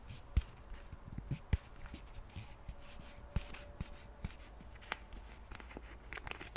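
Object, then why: Plastic pump bottle. Fingernails tap and scratch the cap and sides of a white plastic cleansing milk pump bottle. Soft, irregular clicks and brief scratchy rustles come at an uneven pace over a quiet low rumble, with a faint steady hum underneath. A few taps stand out sharper than the rest.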